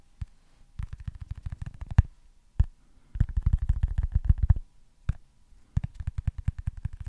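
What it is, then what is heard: Foam stress ball, fingertip tapping. Fingertips tap on a small, solid, white foam baseball stress ball, making soft, dull, low thuds in quick bursts separated by brief pauses and a few isolated single taps. Each tap is short and muffled, with almost no ring.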